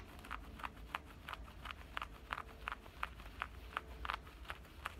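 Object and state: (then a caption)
Denim pocket scratched. Fingernails scratch and rub the opening and stitched seam of a side pocket on black denim shorts. About 14 short, bright scratchy strokes come at an uneven pace, each with a rasp centered near 1.3 kHz. A steady low rumble sits underneath.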